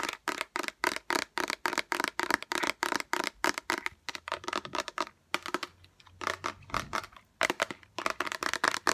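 A small transparent orange plastic bottle with liquid inside and a green-yellow cap is held in the hands and tapped quickly with long acrylic nails. The result is a rapid run of about forty short, dry, bright clicking taps, with brief pauses near the middle and toward the end.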